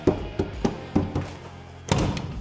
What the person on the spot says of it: it's not like a drum anymore